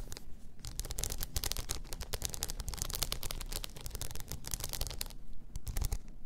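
Long nails scratch across a blue rhinestone-covered tumbler lying on its side. The result is a dense, continuous run of rapid, bright crackling scrapes and clicks over a low, steady rumble.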